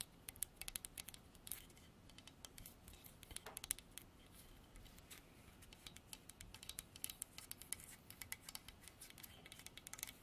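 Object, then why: Carved hardwood horse statue. Long artificial nails scratch and tap across a solid carved horse statue of dark striped hardwood on a base. The result is a quiet, steady stream of sharp, bright clicks and dry scratching strokes, each dying away almost instantly with no ring.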